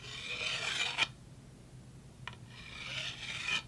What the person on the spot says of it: these are made out of solid wood of some sort